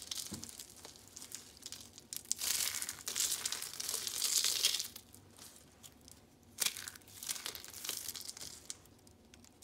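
Yellow and patterned rolls of dry soap curls are held in the hands and crushed by the fingers, crumbling into flakes. Bright, dry crinkling and crunching comes in bursts, loudest around two and a half to five seconds, with sharp crackles between quieter stretches.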